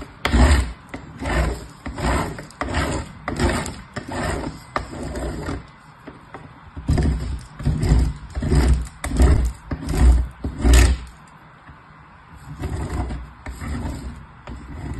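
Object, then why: Bar of soap on a metal box grater. A bar of soap is rubbed with the fingertips against the perforated side of a metal box grater in fast strokes. The result is a rhythmic run of coarse, rasping scrapes with a heavy low rumble, briefly pausing around six and twelve seconds before resuming.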